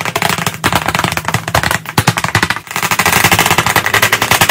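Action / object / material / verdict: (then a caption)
tap / chalk tapped on a wood-framed chalkboard / chalk, board / none. Both hands tap chalk rapidly on the flat surface of a large black chalkboard in a wooden frame. The result is a dense, fast stream of short, dry clicks with a bright edge around 2 kHz and very little ring. The taps come in quick bursts, with brief dips between flurries.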